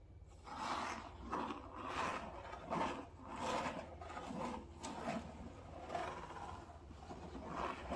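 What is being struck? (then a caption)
Closed cardboard box. Fingernails and fingertips scratch and tap the front side of a medium, closed cardboard Prime shipping box. The result is a steady run of rough, papery scraping strokes with soft taps mixed in, centered in the mid range and swelling and fading in quick, uneven bursts.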